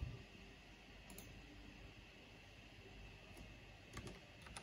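Long painted fingernails and fingertips tap slowly on a full-size black plastic mechanical computer keyboard with a purple backlight and a hollow housing. Sparse, short, bright clicks and key taps sit over a steady low hum, with the loudest taps at the very start and near the end.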